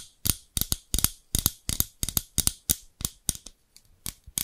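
Long pink acrylic nails tap and scratch the translucent amber plastic handles of large tailor-style scissors with steel blades, held in front of a microphone. The result is a quick, irregular run of dry, sharp clicks with a bright, crisp top and a soft low thump beneath. Each click dies away almost instantly, with short scratchy trails between them.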